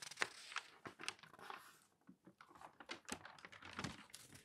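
Fingertips rub the page of an open newsprint newspaper, then a large sheet is lifted and turned, crinkling the thin paper. Quiet, dry, bright crackles and sharp rustling ticks come in uneven bursts with almost no low end and no ring after each one.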